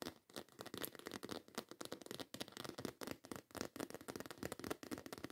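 Long white acrylic nails rapidly tap and scratch across a black croc-embossed faux leather handbag with a zipper top. The result is a dense run of dry, crackly taps and scrapes that stop almost instantly, with most of the sound in the mids and bright, scratchy edges.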